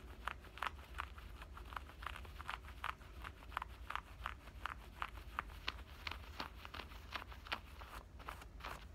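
Fingernails scratch at the side pocket edge and waistband stitching of black denim shorts. The result is a quick, steady run of short, dry, rasping strokes, bright and crisp, over a low, constant rumble.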